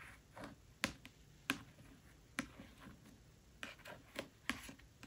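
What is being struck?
Paperback book, paper cover.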